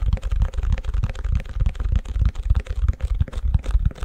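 Fingertips and nails tap and scratch the back of a long, empty white plastic ice cube tray held upside down. The result is a rapid, uneven stream of short, dry, muffled thumps that are mostly deep and low, with faint scratchy clicks above them. Each tap stops almost instantly, with no ring.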